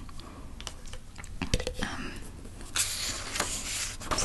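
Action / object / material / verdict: tap / plastic measuring jug / plastic / none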